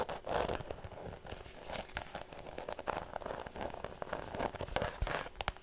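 A white structured faux leather shoulder bag is held close in front of the microphone and tapped with fingernails. The result is a dense run of quick, dry clicks and crinkly, scratchy rustles, with a soft mid-range body and brief bright ticks that stop almost instantly.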